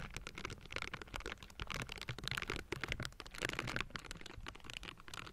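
Both hands in pink silicone bristle gloves tap and scratch the hollow metal mesh grille of a Blue Yeti microphone. A dense, continuous run of quick, dry taps and bristly scratching crackles brightly over a low, boomy thumping. Each tap dies away almost at once.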